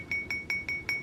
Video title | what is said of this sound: We Found TREASURE | when it's just sitting somewhere flat crystal sings and if this were just glass it would have kind of a dead sound